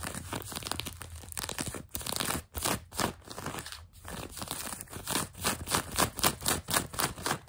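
Long nails scratch grey-blue denim jeans fabric stretched over a knee, making dry, raspy scrapes with bright crinkly texture. The strokes come in uneven bursts, growing louder and more rhythmic toward the end.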